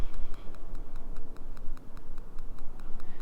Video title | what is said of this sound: Toyota Sienna Review - 2011-2020 - 3rd Gen | when you tap on them, they've got a very hollow feel to them